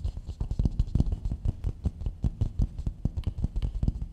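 A medium, hollow, empty polished coconut shell bowl is held upside down while long nails of both hands tap and scratch across its outer dome. A rapid, uneven patter of dull, low, hollow knocks sounds, each dying away almost at once, with faint scratchy rustle between the taps.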